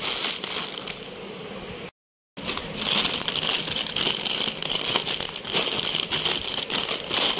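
Fingertips tap, press and crush a blue Lay's crisp bag, a foil-lined plastic chip bag that is hollow and partly filled with chips, while a yellow bag sits untouched in the background. Bright, dense crinkling and crackling fill the clip, broken by a brief full silence around the two-second mark before the crushing resumes.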